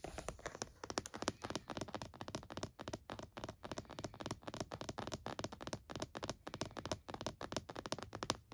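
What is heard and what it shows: Both hands rapidly tap the lid of a closed laptop in a purple plastic hard-shell case resting on a towel, using fingertips and nails close to the front edge. The result is a dense, steady stream of short, dry plastic clicks and taps with bright edges and a light hollow body, each dying away almost instantly.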